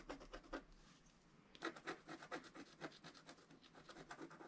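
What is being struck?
Coated scratch-art card scratched with a wooden stylus.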